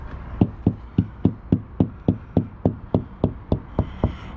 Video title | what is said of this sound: Fitting a Fiamma Carry-Bike UL Bike Carrier Rack | nice and solid there